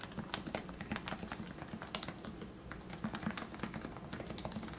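Fingertips type steadily on a lubed plastic Leopold FC660C Topre keyboard with 45g switches, seen from the side. A quick run of soft, muted keystrokes gives short, rounded thocks with a low body and a little brief clack on top. Each stroke dies away almost at once.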